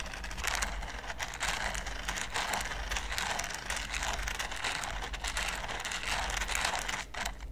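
A green silicone basting brush is brushed and flicked across the pyramid studs of a large flat red silicone baking mat. The result is a dense, continuous run of bright crinkling, crackling scratches that swell and ease in waves over a steady low hum.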